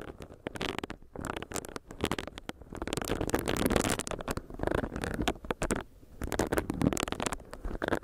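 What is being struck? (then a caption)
Silicone face scrubber. A small, solid pink silicone facial brush is tapped with long nails while its bristles are rubbed on the mic. This produces close, crackly rubbing and quick taps in irregular bursts, with short pauses between flurries. The sound is mostly low and muffled, with occasional bright, scratchy edges.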